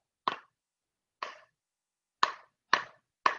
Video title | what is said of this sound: Learning with Nature with Melanie - 8/31/2020 | if it's a good, solid, fresh stick, it makes a stronger sound. And my sticks are a little bit old, so they make it kind of a dull sound